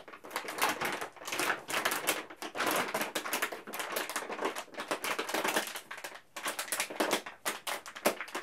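A large XXL foil-lined plastic M&M's snack bag, flexible and partly filled with candy, is held in both hands and crinkled and squeezed with fingertips. Dense, bright crackling and sharp crinkles come in rapid bursts with brief pauses throughout, carrying almost no low end.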